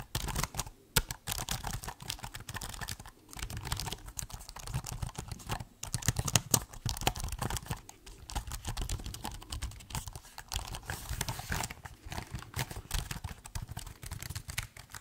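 A silver laptop with a keyboard of plastic keys is held in both hands while fingertips type and tap on the keys. The result is a steady, dense run of short, dry clicks and taps with a soft low thump under a bright clatter, each click dying out almost at once.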